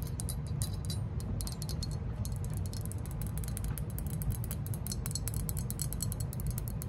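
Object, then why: Hollow glazed ceramic lantern. Long nails scratch and tap the glazed body and rims of a hollow green glazed ceramic lantern-shaped lamp figure held in the hand. A continuous stream of rapid, crisp clicks and scrapes rides over a steady low hum.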